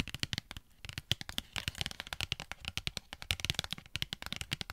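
A Pritt Patafix cardboard and plastic blister pack, held close to the mic, is tapped rapidly with long nails. The result is a quick, steady run of short, dry, bright clicks that stop almost instantly, with a faint low thump under some of them.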